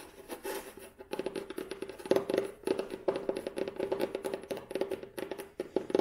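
Long nails tap and scratch on the cloth-covered board of an old, solid hardcover book with a beige cloth cover and red spine, held in the hands. A rapid, uneven run of soft, dry clicks with a hollow tone around 390 Hz dies away almost at once, with faint scratchy rustle between the taps.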